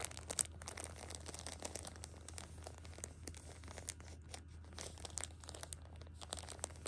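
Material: Thin plastic.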